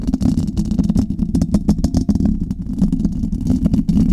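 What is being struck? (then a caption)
Microphone with metal mesh grille. Long red nails on both hands scratch and tap the metal mesh grille of a Blue Yeti metal USB condenser microphone. A dense, rapid run of close, muffled taps and scratchy rustles rides over a steady low, boomy rumble with a hum-like tone near 200 Hz. Brief bright clicks flicker above it throughout.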